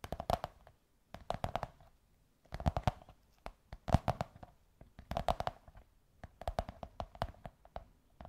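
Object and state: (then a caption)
Cardboard tube. Long white nails tap and scratch a beige kraft cardboard tube, producing quick flurries of dry, hollow clicks and thuds. The taps come in short, uneven bursts separated by brief pauses, each tap dying away almost instantly.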